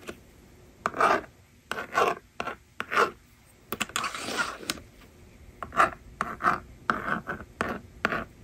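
A yellow plastic stylus, held by long-nailed fingers, scratches numbers onto the screen of a small hollow plastic magnetic toy drawing board resting on a table. Short, dry scratching strokes come in quick bursts with a midrange rasp, broken by one longer continuous scrape partway through. Each stroke stops almost at once with no ring.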